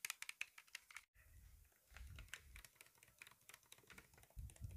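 Fingertips and nails tap and scratch the grip and trigger-guard area of a hand-sized black polymer airsoft pistol with a hollow plastic body, held in the hands. A quick run of bright, dry clicks and scrapes, like typing, stops in a brief silence, then resumes over a soft low rumble from handling.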